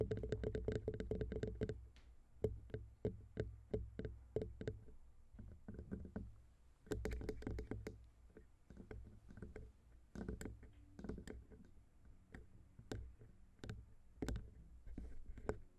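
Long pink nails tap and knock on the sides of the metal capsule housing of a silver Zoom H6 XY microphone head. The result is a quick, irregular run of short, dry clicks and thuds, heavy in the low end, coming in dense bursts separated by brief pauses.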